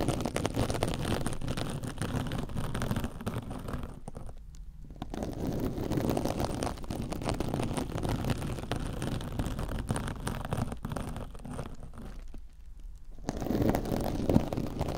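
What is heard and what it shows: A soft, compressible silver metallic-fibre mesh kitchen scrub sponge is held against a microphone ear and scratched with long orange nails. It makes a dense, crunchy, rustling scratch with a heavy low-end rumble. The scratching runs almost continuously, with two short pauses near the 4.5 and 12.5 second marks.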